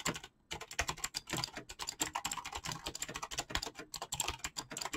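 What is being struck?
Mechanical keyboard with PBT plastic keycaps.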